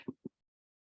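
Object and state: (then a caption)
Drum-tight embroidery fabric in hoop. Two quick finger taps on cotton fabric stretched in an embroidery hoop give short, dull, drum-like thumps centred low in pitch with almost no ring. The fabric is drum tight, showing it is taut enough in the hoop.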